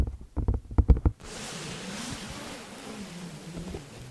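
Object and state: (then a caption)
Padded fabric laptop sleeve. Long nails and fingertips of both hands scratch and rub a blue quilted, padded fabric laptop sleeve lying flat in front of the microphone. About eight soft, low, muffled scratches come first, then a steady, close, airy rubbing hiss continues to the end.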